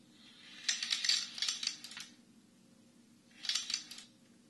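A Chinese abacus with a dark wooden frame and red wooden beads on rods is held at both ends by hands and tilted or shaken, so the beads slide and clack. Two bursts of rapid, bright wooden clicks are heard, a longer one followed by a shorter one, each dying away quickly.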